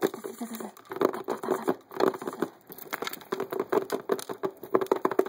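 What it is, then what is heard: Clear plastic poker chip case. Fingers and nails tap fast along the top edge of the lid of a transparent hard plastic poker chip case full of poker chips. The taps come as a quick, uneven run of short, dry plastic clicks with a hollow ring around 380 Hz. Each click dies away almost instantly.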